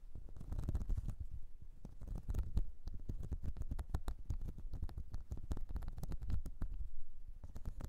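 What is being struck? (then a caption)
Ridged silicone cleansing mat. Long nails scratch across the ridged surface of a flat, light blue, whale-shaped silicone cleansing mat. The result is a dense, steady run of quick, scratchy strokes with a soft, low, rumbling body and short bright ticks that die away almost at once.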